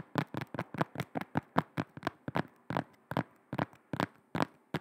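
Long red nails tap and scratch on the grey-black rubber sole of a black shoe held sole-side toward the microphone. About eighteen quick, dull, close taps follow one another at an uneven pace, each dying away almost at once.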